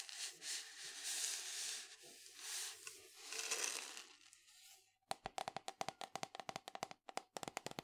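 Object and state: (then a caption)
Cardboard canister tapped and scratched with fingernails. Long fingernails scratch along the side of a tall, hollow, cylindrical printed cardboard powder canister with a yellow plastic lid, making a continuous dry, hissy rasp for about five seconds. The scratching then gives way to a quick run of sharp, bright fingernail taps on the canister's side, each clicking hollowly and dying away fast.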